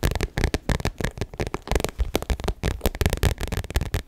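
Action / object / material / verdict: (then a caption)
tap / small metallic vinyl crossbody bag / vinyl / none. Long nails rapidly tap and scratch a small, rectangular, shiny gold metallic faux leather (vinyl) crossbody bag, which is hollow. The result is a dense run of short, dull, low-heavy taps mixed with crackly scratching, each sound dying almost instantly with no ring.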